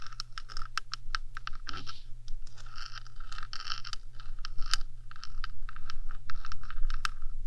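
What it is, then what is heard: Metal microphone body tapped and scratched with nails. Long dark nails rapidly tap and scratch the top surface of the black, hollow metal body of a 3Dio microphone. The result is a quick, irregular stream of sharp, bright clicks and short scratchy scrapes over a steady low hum.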